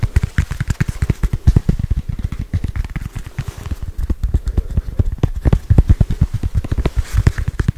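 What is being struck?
Small foam stress ball.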